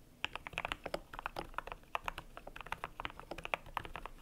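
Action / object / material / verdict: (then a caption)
tap / plastic mechanical keyboard with PBT keycaps / PBT plastic / none. A cream compact mechanical keyboard with PBT plastic keycaps is typed on with fingertips. It produces a quick, uneven run of short, dry clacks with a hollow midrange body and bright tops. Each keystroke dies away almost instantly.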